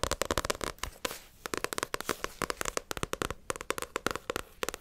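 A small solid paperback manga, Naruto volume 31, is tapped and scratched on its glossy card cover and spine with long acrylic nails. Rapid, sharp, dry clicks come in quick bursts, with a brief soft scratching pause around the one-second mark.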